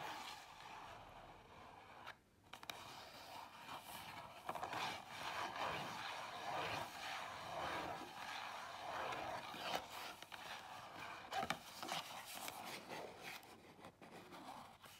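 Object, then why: Small cardboard box. Long acrylic nails tap and scratch the front and sides of a small, closed, rectangular Zara perfume box made of cardboard, held upright on a table. Dry, papery scraping and quick light taps blend into a steady bright texture, with occasional sharper clicks standing out.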